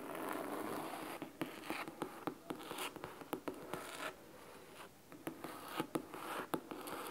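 Fingernails scratch the top edge of a large, thick, solid red fabric-covered hardcover book. The sound is a soft, dry rasp broken by irregular crisp, sharp ticks that die away almost instantly, with most of the energy in the mids and a thin high hiss. A brief quieter lull falls near the middle before the scratching picks back up.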